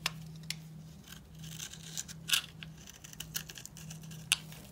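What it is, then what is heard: Dry soap bar, crunchy. A solid purple bar of dry soap, pre-scored in a grid and held in the hand, is scraped with a steel utility knife blade so that cubes crumble off. Sharp, bright crunches and short scratches sound at irregular moments over a steady low hum, and each snap dies away almost instantly.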